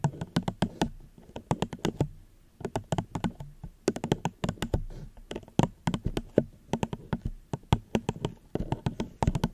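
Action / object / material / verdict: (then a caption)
tap / plastic cup / plastic / none. Gentle tapping on a plastic cup held at the microphone, with quick bursts of light taps and short pauses between them. Each tap is a short, dry, hollow knock with a low-heavy body and a faint bright click, dying away almost instantly.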